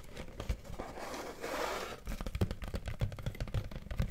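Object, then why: Corrugated cardboard box. An empty white corrugated cardboard box with a torn corner exposing its corrugation is held close to the mic and scratched and tapped with fingertips and nails. A soft, papery scratching swells in the middle of the clip, then gives way to a quick run of dull, low, hollow taps and light scrapes. The sound is quiet and mostly bassy, with little high-end brightness.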